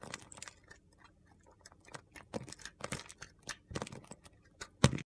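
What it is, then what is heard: Bar soap being shaved with a blade. A small, solid piece of green and white bar soap with a green coating, held in the fingers, is shaved with a utility knife blade into crumbly flakes. The result is a quick, irregular series of short, dry, crunchy scrapes with little ring, ending in a sharper, louder cut.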